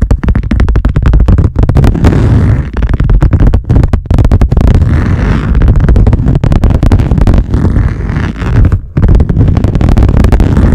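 Long painted nails of both hands scratch and tap fast across a large, flat wood-grain laminate lap desk surface. The result is a dense, loud, continuous stream of short, dull, low-heavy knocks and scrapes that barely ring, with brief dips in between.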